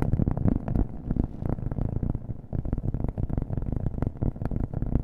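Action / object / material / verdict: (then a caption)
tap / cork coaster / cork / none. A round, flat, thin cork coaster held in the hand is tapped quickly with fingernails, with an echo effect on the sound. The taps come as soft, dull, low thuds that run together into a dense, muffled patter with almost no bright edge and very short ring.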